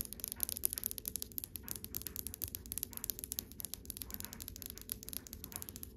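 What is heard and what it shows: Long white acrylic nails tap rapidly on the front of a dark, polished wooden dresser drawer, beside but not touching its brass handles. A steady stream of crisp, bright clicks with almost no ring rises over a faint low hum.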